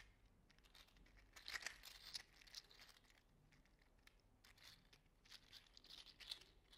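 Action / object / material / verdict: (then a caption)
shake / 3D printed plastic articulated slug toy / plastic / none. A small orange-red "mini fire slug" toy made of 3D printed plastic, with hollow articulated segments, is curled and squeezed in the fingers. Its segments make quiet, bright, crinkly clicking and rattling that comes in dense bursts, loudest near the middle and again toward the end.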